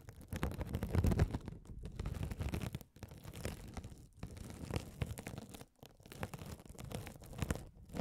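A rolling gold metal spiked roller scratches a hand-sized blue glitter mesh scouring sponge, soft and solid with a sparkly woven mesh cover, held close over the microphones. The result is a dense, continuous run of low, rumbling crunchy scratches and crinkles that swell and fade, with a few brief pauses.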